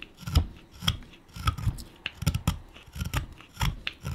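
A hand-sized, solid, light wood pipe blank is held in the palm and pared with a steel chisel. A quick series of short, dry shaving cuts sounds with a low, thumpy body and crisp, bright scraping edges. Each cut stops almost at once, with little ring between strokes.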